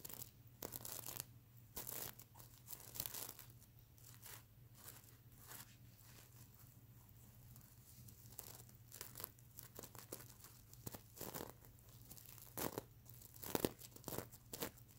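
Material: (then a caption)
Plastic sequins. A sequin unicorn pillow with plastic sequin fabric is held up while fingernails scratch the plastic sequins around its eye. Bursts of crisp, crinkly scratching arrive in irregular clusters, bright and broadband, over a steady low hum. Quieter stretches in the middle give way to sharper, louder scratches near the end.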